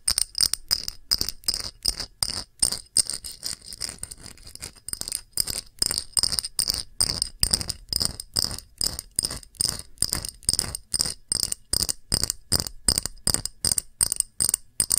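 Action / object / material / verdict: tap / small clear glass dish / glass / none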